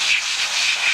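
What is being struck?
Nothing is struck.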